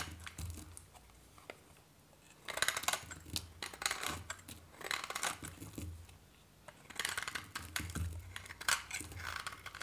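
A solid white bar of varnished dry soap is held in one hand and cut and scraped with a metal knife blade, shaving off flakes. Crisp, bright, dry crackling scrapes come in bursts, separated by quiet pauses with a faint low hum.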